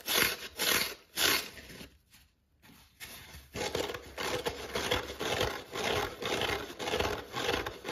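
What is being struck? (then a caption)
Foam kitchen sponge with scouring pad. A dry, palm-sized yellow foam kitchen sponge with a green scouring pad is held in the hand while fingertips scratch and rub its crumbling foam side and then the green pad. Three bright, hissy scratches come first, then a near-silent pause. Steady, rhythmic, rasping rubbing strokes follow to the end.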